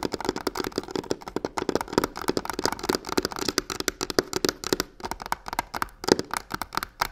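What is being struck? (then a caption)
Hollow box covered in textured faux leather. Long nails rapidly scratch and rub the corner of a hollow box covered in black crocodile-texture faux leather. The result is a dense stream of short, dry, crackling scrapes and taps with a hollow mid-range body around 380 Hz and a bright, gritty top. Each burst stops almost instantly.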